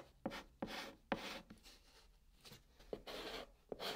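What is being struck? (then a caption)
Chalk stick on cardboard box. A white chalk stick held in the fingertips writes Korean letters on the top of a large, flat, hollow brown cardboard box, scratching across the surface. Each stroke starts with a sharp tap that has a faint tone near 550 Hz, followed by a bright, hissy scrape that dies out almost instantly. Quiet pauses separate the strokes.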